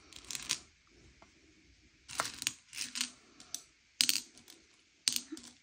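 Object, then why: Sugar-shelled chocolate candies on a plate. Fingertips slide and push a pile of small, hard, sugar-shelled M&M's candy-coated chocolates across a grey plate, sorting them by colour. Bursts of bright, dry clicking and rattling come as the candies knock against each other and the plate, separated by near-silent pauses.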